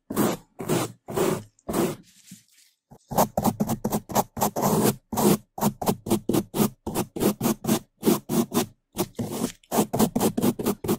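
A gloved hand rapidly scrubs the sides and top of a black foam microphone windscreen with a bamboo toothbrush. It makes a fast train of loud, rough, broadband scratching strokes, with a brief quieter pause near the start.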